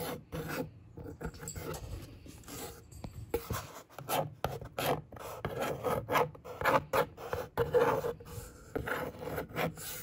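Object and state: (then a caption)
Cardboard box scratched with a fingernail. A long natural fingernail traces and scratches across the flat top of a large, hollow brown corrugated cardboard box with packing foam visible beyond it. It makes dry, rasping scrapes in quick and slower strokes, with irregular bursts of mid-range and bright texture that cut off sharply between strokes.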